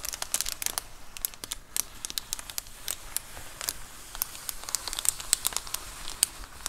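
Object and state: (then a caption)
Plastic bubble mailer. Long acrylic nails scratch and tap the bubbled plastic of a large white plastic Amazon Prime bubble mailer lying flat. A rapid, uneven series of sharp, bright crinkling ticks and clicks plays over a soft hiss, each dying away almost instantly.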